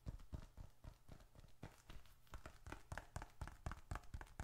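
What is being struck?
Leather bifold wallet.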